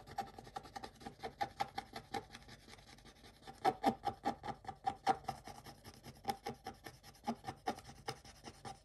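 A wooden stick scrapes the black layer off a scratch-art paper page whose coating flakes. The result is a quiet run of short, dry scratching strokes in an uneven rhythm, each with a faint tone near 750 Hz and a thin rasp reaching into the highs.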